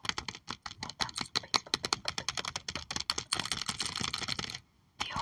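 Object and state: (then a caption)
Plastic sleeve sticker album page. Both hands tap quickly with long acrylic nails on the plastic sleeve pages of an open sticker album. The result is a dense run of sharp, bright clicks that blurs into continuous rustly tapping before a brief silence and a final burst.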